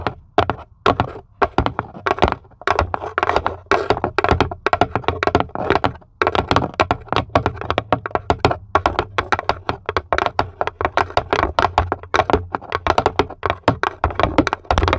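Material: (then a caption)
Plywood. Long pointed acrylic nails tap their tips rapidly and continuously on the flat base of a small, empty, light plywood serving tray with a cut-out handle, with both hands resting on it. Each tap is a short, dry clicking knock with almost no ring, mostly in the mid range with little brightness, over a steady low hum.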